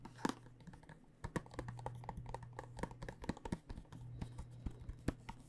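Long nails tap the top of a clear plastic dice tube with a cardboard end, held horizontally and full of dice. There are quick, irregular, soft clicks that die away almost instantly, with a steady low hum underneath.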